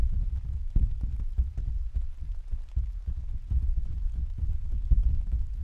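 Several hands tap and pat with their fingertips on the thin, hollow canopy of an open translucent white plastic/vinyl umbrella standing on a stand. The result is a steady, rapid patter of soft, dull thumps that stay deep and boomy with a low hum-like body. Each tap dies away almost instantly.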